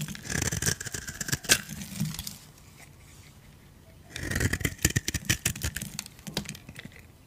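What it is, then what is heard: Dry soap bar. A metal utility blade scrapes crunchy curls off a solid oval beige dry soap bar held in the hand. Two bursts of bright, crackling scraping with a low rasp underneath are separated by a quiet pause of about two seconds.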